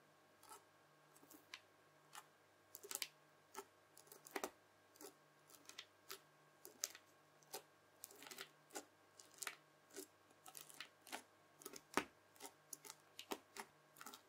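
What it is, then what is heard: Bubble slime crackling. A white plastic fork repeatedly presses its tines into a round, flat disc of red bubble slime full of tiny bubbles. Each press makes short, bright crackling pops, sometimes in quick clusters, over a faint steady hum throughout.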